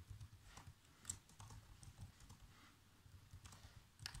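Fingertips type on the black plastic keys of a laptop keyboard, producing quiet, quick key taps with short bright clicks. The taps sit over a steady low hum, and each click dies away almost instantly.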